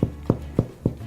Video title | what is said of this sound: How to make Sourdough Bread | Oh, that's a great sound. So this bread is done.